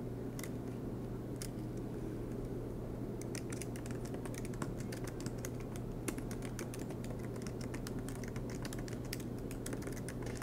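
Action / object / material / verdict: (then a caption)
tap / laptop keyboard, plastic keys / plastic / none. Fingertips tap the black plastic keys of an aluminum MacBook Pro laptop keyboard, giving a few scattered soft clicks at first and then steady, quicker typing from about three seconds on. The light, bright key taps sit over a constant low hum that fills the whole clip.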